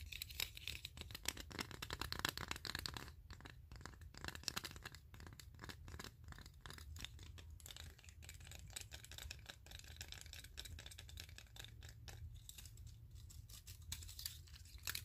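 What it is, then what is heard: Row of wooden clothespins, scratched and tapped. Fingertips scratch and tap along the wooden ridges of a flat block of wooden clothespins clipped side by side and held in both hands, and squeeze the block. The result is a quiet, dense stream of crisp, dry scratching and rapid clicking taps, bright and high-pitched, with a low rumble underneath.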